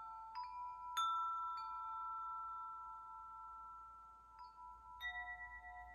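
Fingertips tap the hanging hollow metal tubes of a wind chime, producing bright, clear ringing tones centered around 1.3 kHz. The tones sustain and overlap for about two seconds after each tap. A few softer taps in the second half add new pitches to the lingering resonance.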